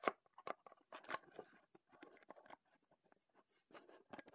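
A small, closed, printed Heddon cardboard lure box is held in both hands while fingertips tap and scratch across its surfaces. The result is quiet, irregular bursts of dry, crisp tapping and papery scratching, with no ringing after each touch.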